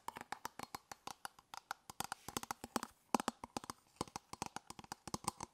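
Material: Plastic.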